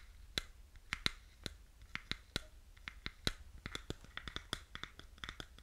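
Fingernails tap and scratch on pink plastic over-ear headphones with a hollow headband and earcups, held close to the mic. An uneven, quick series of sharp, dry clicks with a bright, hollow plastic ring cuts off almost instantly, with faint scratching between the taps. The sound is quiet and close.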